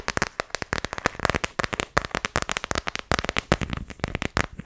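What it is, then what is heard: Clear plastic phone case. An empty, thin-shelled transparent plastic iPhone X case with glitter inside is tapped and scratched with long fingernails. A rapid, uneven stream of sharp, dry plastic clicks and brief scratches crackles throughout, each tap dying away almost instantly.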